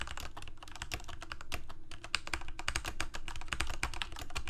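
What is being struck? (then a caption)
Plastic mechanical keyboard. Fingertips of both hands type rapidly on a full-size Corsair mechanical keyboard with plastic keycaps on mechanical switches, a hollow plastic case and blue backlight. Quick, steady clacks follow one another, each a short, dry click with a bright edge over a low, hollow thump from the case.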